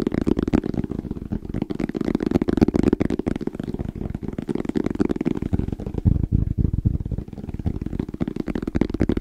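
Fingertips tap quickly on the face and edges of a small, closed, hollow black zippered hard case with orange trim and a fabric-covered EVA shell. The taps are dense, irregular, dull thumps with a low-mid hollow body and almost no bright content. Each tap dies away at once.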